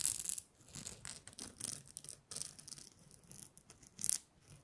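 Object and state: Glitter-coated plastic star ornament.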